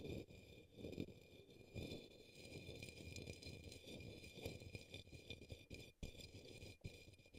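A paintbrush brushes and taps the base of an upside-down, hollow, empty turquoise opaque plastic cup or small bowl resting on a green towel. A quiet, continuous scratchy brushing is heard, broken by soft, short taps, with a faint steady high tone running underneath.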